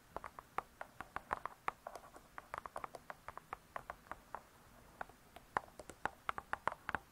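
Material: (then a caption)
Cardboard. Long nails tap and scratch the cardboard-covered cover of a spiral-bound hardcover cookbook. Dozens of quick, dry, clicky taps land in an uneven rhythm, each centered around 1 kHz with almost no ring or low end. Faint scratching fills the gaps between them.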